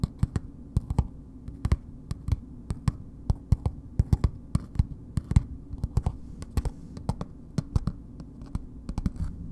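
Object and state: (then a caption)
Paper-wrapped bar soap. A palm-sized, solid Dr. Bronner's bar soap in a red printed paper wrapper is held in the hands and tapped and scratched with long nails. The result is a steady run of quick, dry, low-pitched taps with soft papery scratching between them, each tap dying out almost instantly.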